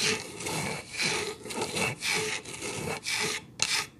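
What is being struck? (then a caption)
Wooden plank board. Long acrylic nails scratch along the grain of an upright solid wood board made of two planks with a visible seam. A series of bright, dry rasping strokes follow one another, each a short scratchy swell separated by brief dips, with little low-end weight.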